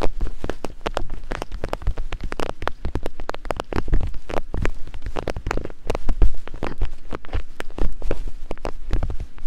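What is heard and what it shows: Two thin wooden picks, one held in each long-nailed hand, tap and climb across a pair of soft silicone ear-shaped capsules on a black binaural microphone body. The result is a dense, rapid patter of short, dull, muffled thumps, heavy in the low end, with each hit dying away almost at once.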